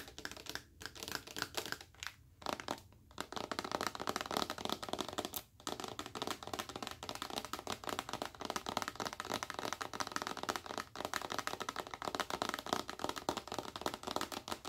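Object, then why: Plastic lotion bottle. Long acrylic nails tap and scratch a large, full, clear plastic bottle of white lotion. The result is a dense stream of rapid, dry, bright clicks and scratchy rasps with almost no low end, broken by a few brief pauses in the first six seconds before settling into steady tapping.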